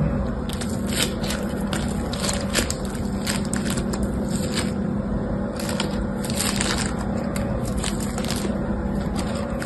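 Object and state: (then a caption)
Floam slime with foam beads. Two hands with short painted nails squeeze, crush and knead a solid, pliable, hand-sized lump of crunchy floam (slime packed with small yellow and green foam beads) over a striped cloth. Dense crackling and bright popping crunches run continuously over a steady low hum, with no clear gaps between squeezes.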